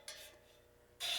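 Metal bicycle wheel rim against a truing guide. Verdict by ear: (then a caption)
Out of true. A metal BMX wheel rim spins in a truing stand and rubs against the guide, making two bright, raspy scrapes, one short and one stronger at the end. The rub marks where the wheel is out of true at that spot.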